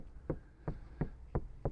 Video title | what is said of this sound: 2025 FORD Transit Custom MS-RT Upgrades | you can hear how sort of solid that door is